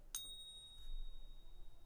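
An American Silver Eagle coin balanced on a finger is tapped once, giving a clear, sustained high ring with steady tones. The clean, lasting ping is the sound of a genuine silver coin, unlike the fake.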